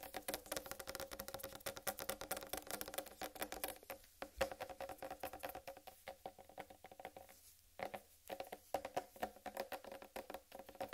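Long red nail tips rapidly tap the top of a large, solid, whole watermelon with a green striped rind. The result is a dense stream of short, dry, hollow knocks with a mid-range tone around 540 Hz and almost no ring. There are brief slower stretches near four seconds and again near seven to eight seconds.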